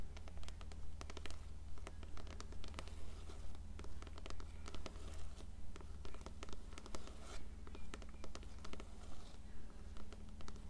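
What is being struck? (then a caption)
Paperback book, paper cover and page edges. Long nails scratch the cover and page edges of an upright, closed blue paperback copy of *Coraline*. The strokes are brisk and regular, with bright, crisp scratches and clicks over a steady low hum.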